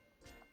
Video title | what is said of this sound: Bruschetta ou Muffin : Quel pain choisir | le pain est bien dur